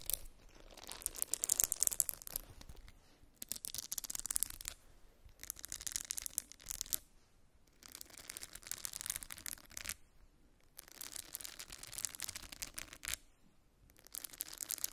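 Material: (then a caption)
Silicone. Long nails scratch and tap the silicone bristles of a small round silicone facial cleansing brush held in both hands. The result is bright, crackly scratching that comes in bursts of rapid clicks, separated by brief quiet pauses.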